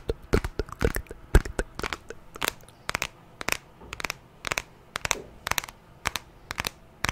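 Long fingernails tap and scratch across the glass screen and aluminium sides of a white smartphone. The sound is a quick, irregular run of sharp, dry clicks with brief scratchy crackles between them. Each tap dies away almost instantly.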